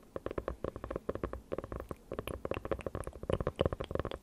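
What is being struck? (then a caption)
Hardcover notebook with faux-leather cover. Long nails tap and scratch quickly across the dark faux-leather cover of a closed hardcover notebook held beside the mic. The result is a rapid, uneven run of short, dull clicks with a faint hollow tone around 535 Hz, carried mostly in the low and mid range with little brightness. Soft scratching fills the gaps, and each tap dies away almost instantly.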